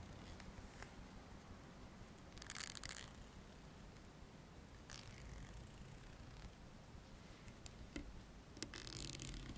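A dark plastic hair comb, about 20 cm long and solid with fine teeth, is held in both hands while its teeth are flicked and strummed with the fingertips. Quiet, bright rasping bursts and sharp clicks come at irregular intervals over a low, steady background hum.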